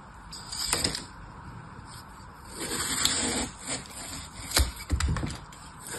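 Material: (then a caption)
Phenolic foam. A large solid block of green phenolic floral foam with punched holes is held flat on a table by one hand and carved along its surface with an orange utility knife blade. Dry, crumbly scraping and cutting rasps with a bright hiss rise and fall, ending in a few sharper crunching snaps.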